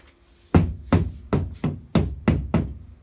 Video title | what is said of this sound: 7-8-2020 Problèmes avec propriétaire de logement insalubre depuis 3 ans | si je tape au plafond ça sonne creux dans toutes les pièces